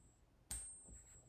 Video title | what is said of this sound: Join Surfer as He Celebrates 500 Subscribers: News, Silver Price Action, Stacking. | silver has a distinct vibration and resonance that actually sounds a lot better than regular metal